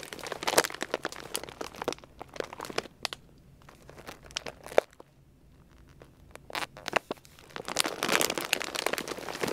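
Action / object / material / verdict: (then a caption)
scrape / plastic food bag / plastic / none. Fingertips pinch and rub the top edge of a large, full, white plastic Purina Beneful dog food bag. Sharp, bright crinkles and crackles come in bursts, fade to a quieter stretch in the middle, then build into dense, louder crinkling at the end.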